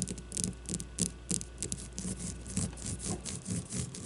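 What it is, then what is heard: Leather baseball scratched with nails. Long fingernails scratch the leather cover of a solid leather baseball held on a table. The result is a quick, uneven series of dry, raspy scrapes, with a steady low hum underneath.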